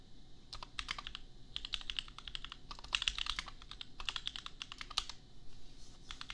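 Bare fingertips of both hands type on a $250 custom 60% mechanical keyboard with Gateron Milky Yellow switches and red and white plastic keycaps, resting on an anime desk mat. The result is rapid bursts of short, bright plastic clacks that die out almost instantly, with brief pauses between runs over a faint low hum.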